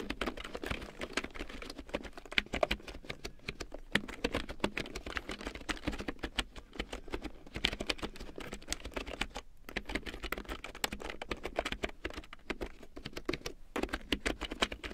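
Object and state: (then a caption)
Plastic computer keyboard being typed on. Long nails and fingertips type steadily on a black plastic computer keyboard with yellow large-print keycaps. It makes a rapid, continuous patter of short, sharp, bright plastic clicks with a faint low hum underneath. There are brief lulls near 9.5 and 13.5 seconds.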